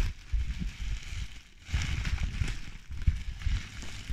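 A clear plastic bubble wrap sheet full of air bubbles is squeezed and crinkled by hands as it is moved beside the mic. The sound is a continuous soft crush and crinkle, heavy in low thumping rumble with faint brighter crackles scattered throughout.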